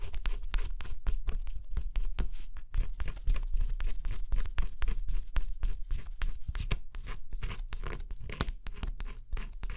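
A thin scraper stylus scratches the black scratch-off coating on a flat cardboard jigsaw puzzle, close up. Quick, uneven strokes of dry, bright scratching follow one another over a low rumble. Each stroke stops short with no ring.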